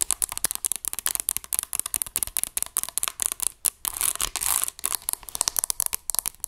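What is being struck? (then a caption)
Plastic graphing calculator. A dark grey plastic graphing calculator, a hollow electronic device held upright, is tapped and scratched on its keys and casing with long acrylic nails. Rapid, sharp, bright clicks with almost no low end fire in quick succession. A brief, denser scratching rasp comes around the middle before the fast tapping resumes.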